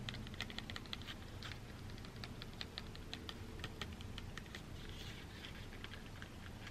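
A folded black cardboard packaging insert, held in hands, is rapidly tapped and scratched with long dark-green nails. Quick, crisp clicks and light scratching run throughout over a low, steady background hum.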